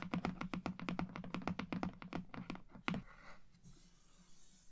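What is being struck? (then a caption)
Printed cardboard box. Long painted nails and fingertips tap and scratch across the front of a large, flat, printed cardboard watercolor kit box, held upright, closed and presumably full. About twenty quick, irregular taps sound with a hollow, low thump and a bright click, ending in one sharper tap near three seconds. A soft, faint scratching then fades out.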